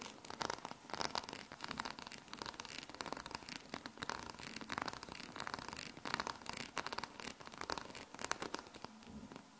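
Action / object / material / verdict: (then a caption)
scrape / small metal magnetic balls / metal / none. Long painted nails scratch and press across a palm-sized sheet of small solid metal magnet balls held in the hands. The result is a dense, bright, crackly rustle of quick overlapping clicks and scrapes with no ring, rising and falling in short bursts throughout.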